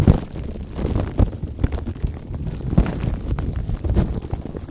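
Fingertips and short nails tap, touch and scratch clear plastic cling wrap stretched tight over the metal mesh grille of a large condenser microphone. The result is a steady stream of deep, boomy thumps and muffled crinkling rubs, heavy in low rumble with almost no bright content.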